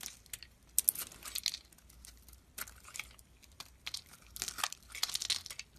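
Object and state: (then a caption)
Bar soap being carved. A hand-sized solid white bar of soap with a thin blue-green outer layer is held in the hand and scraped and carved with a metal blade, with chunks breaking off. The strokes give bright, crisp, crumbly scraping and crinkling bursts with almost no low end, separated by quiet gaps.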